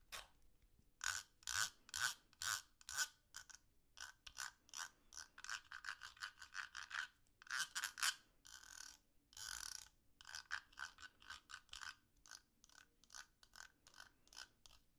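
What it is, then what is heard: Plastic fidget cube. Fingers turn the ratcheting gear and scratch the ridged edge of a small purple and blue plastic fidget cube with a green button, held in the hands. The result is a quick series of short, bright rasping clicks and scrapes, about two per second in an uneven rhythm. Some strokes stretch into longer scratchy rubs.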